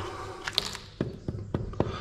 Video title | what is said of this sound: Lights, bannisters, action! (Ep 98) Cave house in Spain | it's hollow behind there as well